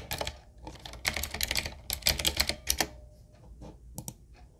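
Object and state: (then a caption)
Mechanical keyboard with round plastic keycaps. Fingertips of both hands type on a full-size 7Keys retro mechanical keyboard, a solid-bodied typewriter-style board with round plastic keycaps on a dark metal plate and a wooden-looking frame. Bright, crisp clacks come in quick bursts that stop almost instantly, then thin out into a few softer, scattered taps toward the end.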